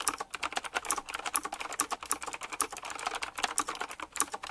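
Fast fingertip typing on a retro typewriter-style mechanical keyboard with round plastic keycaps set in chrome rings. It makes a rapid stream of sharp, bright clicks and clacks that stop quickly, with no low rumble beneath them.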